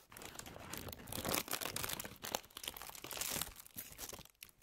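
A thin white paper tissue sheet, held flat in both hands, is crumpled and handled with long manicured nails and fingertips. It makes dense, bright crinkling and crackling with fast papery rustles that swell and fade, with little low end and no lingering ring.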